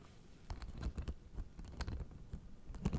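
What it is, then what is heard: Acupressure mat with plastic spikes. A blue fabric acupressure mat with white plastic spike discs is held flat in both hands while long nails tap and scratch across the spikes. Quick, irregular clicks and dry scratches come with soft, low thumps, each dying away almost at once. The result is a quiet, close, patter-like string of taps.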